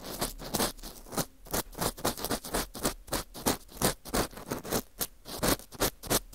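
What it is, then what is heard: Dried wheat gluten fu ring. An orange plastic earpick scratches around inside the hollow center of a round slice of dry, porous wheat gluten fu held in a gloved hand. It makes a rapid, uneven series of short, crisp, bright scratching strokes with a dry, airy texture and almost no ring.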